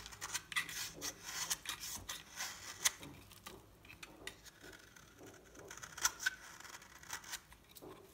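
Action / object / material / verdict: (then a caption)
scrape / bar soap scraped with a knife blade / soap / none. A solid, dry cream bar of soap with an orange edge, held in the palm, is scraped and cut with a metal knife blade. The clip is a quiet series of short, crisp, bright scraping and crunching strokes with almost no low end. Each cut ends abruptly with no ring.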